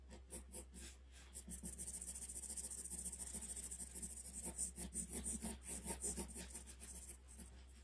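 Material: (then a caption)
Paper. A graphite pencil rubs and scratches quick shading strokes across a sheet of flat white drawing paper, along the handle of a drawn ax. The scratchy strokes are bright and hissy and come in an uneven rhythm, rising and falling in short bursts over a steady low hum.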